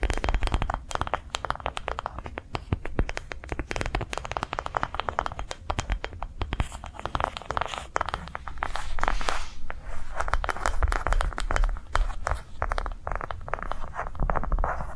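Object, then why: Ribbed rubber ball. A ribbed yellow-green rubber sensory ball, held in both hands, is tapped and scratched with long nails. Rapid, dense dry taps mix with crinkly scratching textures, staying steady throughout with a low-heavy thud beneath.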